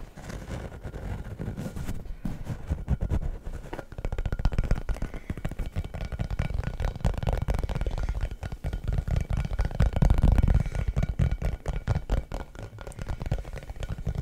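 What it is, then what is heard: Rubber basketball. An orange rubber basketball, hollow and inflated, is held in one hand while the fingertips and nails of the other tap and scratch its surface. The result is a steady run of quick, dull, low thumps, about four per second at an uneven rhythm. Each thump dies away almost instantly, and faint scratching runs beneath them throughout.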